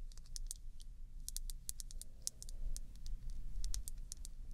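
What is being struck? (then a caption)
Small glass nail polish bottle tapped with fingernails. Long red nails tap and click on a small, full, dark glass nail polish bottle with its cap on, held in both hands. A quick, irregular run of sharp, bright clicks sounds over a steady low rumble.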